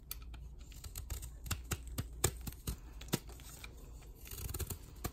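A palm-sized square block of soft white magnesium gym chalk, solid and powdery and held in a chalk-covered hand, is crumbled between the fingers and then shaved and scraped along its surface and edge with a metal snap-off utility knife blade, shedding powder. Quiet, dry crackles and sharp, bright scraping clicks come in quick bursts over a steady low hum, each dying away almost instantly.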